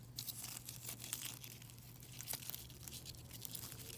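A plastic mesh bag full of silver foil-wrapped chocolate coins is squeezed, scratched and crinkled with long nails and fingertips. The sound is a quiet, continuous, bright foil crinkle and scratch with many quick sharp ticks, over a faint steady low hum.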